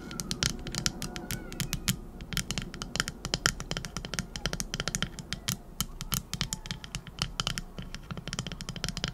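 Long acrylic nails rapidly scratch and tap the back of a small, solid teal epoxy resin shell-shaped trinket dish held close to the mic. The result is a dense stream of sharp, bright clicks and scratchy rasps that die away almost instantly, over a soft low rumble.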